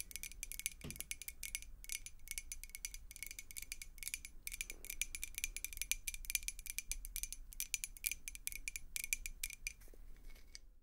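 A clear glass beer mug, partly filled with water, is tapped rapidly and continuously with long acrylic nails. The taps are quick, bright glassy clicks with a steady ringing tone near 2.4 kHz that dies away almost at once, over a faint low rumble.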